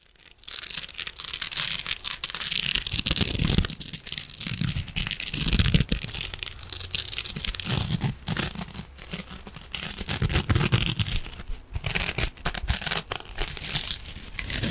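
A hand-sized rectangular scrubbing sponge wrapped in silver metallic mesh, soft and compressible, is held in both hands and scratched and squeezed with fingernails. A continuous, dense scratching and crinkling texture with bright, hissy highs runs throughout, over a soft low rustle. Short bursts rise and fall without stopping.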